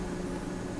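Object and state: Nothing is struck.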